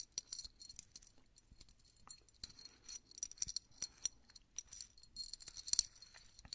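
A small solid metal Mickey Mouse head keychain charm on a steel split ring is held in both hands while fingertips twist and work the split ring, jingling the charm against it. The result is a string of quick, bright, high-pitched metallic clinks and jangles with almost no low end and no lingering ring.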